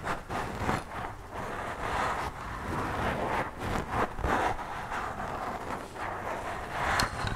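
Long purple acrylic nails and fingertips scratch and rub directly on the round, soft, porous black foam windscreen of a handheld microphone. The result is a continuous, close-up rustling scratch with a heavy low rumble, since the sound is picked up right at the mic capsule, with a few brighter scrapes standing out.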